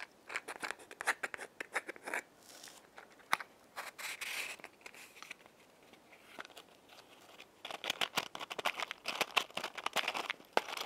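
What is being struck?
Cardboard matchbox with wooden matches.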